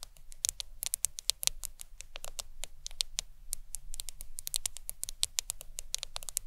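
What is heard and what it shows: Long acrylic nails tap and scratch the glass screen of a black smartphone lying flat on a towel. Quick, dry, bright clicks come in an uneven flurry with scratchy sweeps between them, each tap dying away at once over a faint low rumble.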